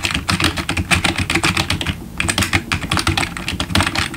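A full-size black plastic RGB gaming keyboard with membrane keys, backlit keys and a hollow plastic body rests on a wooden desk while the fingertips of both hands type steadily. Rapid, short clacky taps carry bright highs over a low hollow thump. The typing is continuous except for a brief pause around the two-second mark.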